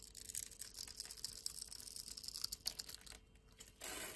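A blade scrapes small cubes off a solid purple dry soap bar that is held in the hand and scored into a grid. The result is a dense run of bright, dry, crunchy scraping and crackling with almost no low end. It dips quiet briefly near the end before a steadier bright hiss takes over.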